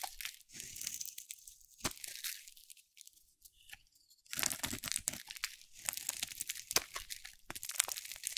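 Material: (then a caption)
Soap. A metal box-cutter blade scrapes and carves thin curls off a hand-sized bar of dry cream-white soap with a teal outer layer, held in one hand, and the shavings fall onto a pile of soap shavings. Bursts of bright, dry crunching and scraping come and go, separated by near-silent pauses, with almost no low end.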